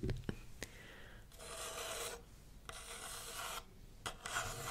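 Long red nails scratch and rub the side of a small, hollow brown kraft paper takeaway coffee cup with a lid and printed text, held in hand. A few sharp taps open the clip, then come long broadband raspy strokes, with a bright rasp in three main passes separated by quieter gaps and a short tap near the end.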